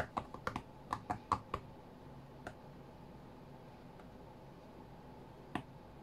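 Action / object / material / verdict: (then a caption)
tap / glass tablet touchscreen / glass / none. Fingertips tap the glass touchscreen of an iPad tablet lying flat on a cutting mat, making ten short, dry clicks centred around 1.1 kHz that die away almost instantly. Most of the taps come in a quick burst in the first second and a half. Two isolated taps follow near 2.5 and 5.5 seconds over a faint low background hum.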